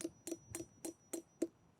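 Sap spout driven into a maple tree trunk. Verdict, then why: Tight. A sap spout is tapped six times into a 2-inch hole drilled slightly uphill into a maple tree trunk, each tap a short, dry knock centered around 330 Hz that dies away almost instantly. Tapping continues until a thud signals the spout is seated, and stopping there avoids overdriving the spout and splitting the wood fibers.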